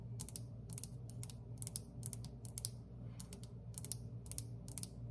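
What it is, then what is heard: Glazed terracotta tile tabletop. Long fingernails on one hand tap a solid glazed terracotta tile table or counter surface. Quick bursts of sharp, bright clicks with almost no ring-out sound over a steady low hum.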